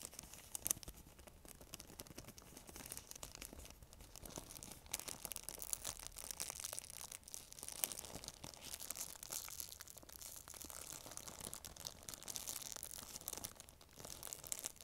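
Fingers with long nails squeeze and crinkle an empty, thin, transparent plastic bag. A quiet, dense stream of bright, crackling crinkles with tearing-like bursts runs steadily for about 15 seconds, with almost no low end and each crackle stopping dead.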